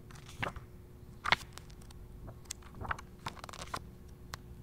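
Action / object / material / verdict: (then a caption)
scrape / paperback book with thin glossy paper pages / paper / none. A handheld paperback travel guide to Northern Spain with glossy thin paper pages is riffled and turned by the thumb. Quiet, crisp crackles and papery flicks sound through a faint low hum, with the sharpest rustle about a second in.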